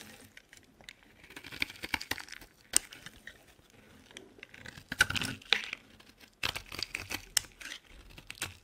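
A solid green olive oil bar soap held in the hand is shaved and carved with a utility knife blade. Brittle, bright scraping and crisp cracking snaps come in bursts with short pauses between them, each cut sharp and dry with no ringing.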